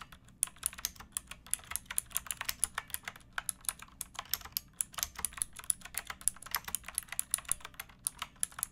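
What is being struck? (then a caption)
Mechanical keyboard with plastic keycaps. Fingertips with long nails type steadily on a pink backlit mechanical keyboard with plastic keycaps resting on a wooden block. Quick, bright, clacky keystrokes follow one another in a rapid, uneven rhythm, each click short and crisp with little low-end weight, over a quiet background.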